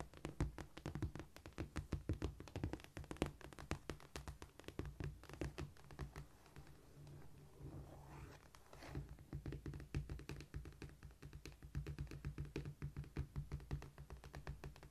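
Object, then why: Cork floor surface tapped and scratched with fingernails. Long painted acrylic nails tap and scratch on a large, solid, flat cork floor with both hands. Dense, quick, dull thunks and clicks with a low body come in rapid bursts, with a quieter scratching stretch in the middle before the fast tapping resumes.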